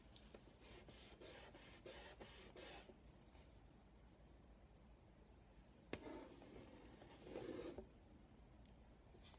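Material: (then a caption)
Chalk. Chalk is drawn across a flat black chalkboard with a wooden frame, sketching circles and marks in a run of short, bright scratching strokes. A pause follows, then a longer sustained scribble and scratch.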